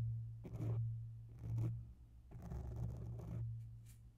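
Long bare nails scratch the sides and underside of a grey oval foam microphone cover, with the hands briefly moving away between passes. Four soft, slow scratching bursts are heard as muffled, low rustling over a steady low hum.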